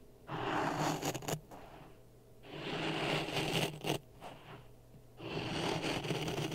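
A wooden stick scrapes through dry sand in a clear plastic cup resting on a red microphone. Three long, gritty scraping passes are separated by quieter pauses, each a broadband rasping hiss with a low, close-miked rumble underneath.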